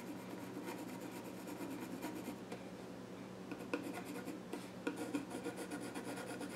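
A pencil scratches sketch lines across the flat top of a small wooden child's stool, producing a steady, quiet, dry rasping scratch with a low wooden body around 290 Hz. Toward the end, a few sharper ticks stand out as the pencil catches on the wood.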